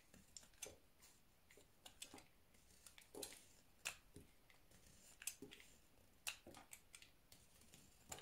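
A solid white soap bar is held in the hand while pieces are shaved off it with a utility knife. Quiet, crisp, bright scraping cuts come at irregular intervals, each a short dry snap with almost no ring, over a faint hiss.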